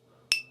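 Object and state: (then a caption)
3D printed part in stiff specialty filament that rings like metal. A 3D-printed part made from a stiff, expensive specialty filament (about $140 per kilogram) that does not bend is flicked once. It gives a sharp, high-pitched metallic ting around 2.6 kHz with a brief ring after it, sounding like metal rather than standard filament.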